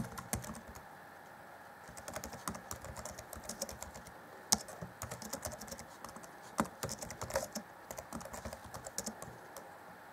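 Fingertips tap and press the keys of the black plastic chiclet keyboard on an Acer Chromebook C20 (2014) in slow typing. Short, crisp, bright plastic clicks come in uneven bursts with a brief quiet gap near the start. A few sharper, louder clacks stand out midway and later.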